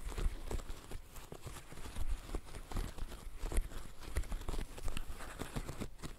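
Fishnet-gloved fingertips press the bubbles of a green silicone bird-shaped pop-it fidget toy. The result is a steady run of soft, dull, low pops and thumps, each dying away almost instantly, with a faint rustle between them.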